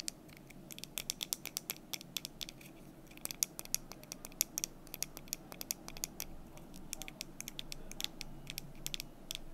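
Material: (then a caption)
Wood. Long nails tap and scratch the surfaces of a small painted red-orange wooden desk calendar, with solid number cubes and a month bar in a stand, held in the hands. Dozens of quick, dry, bright clicks ring off almost instantly, scattered irregularly over a soft, steady low rumble and faint scratching throughout.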